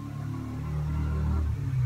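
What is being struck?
Nothing is struck.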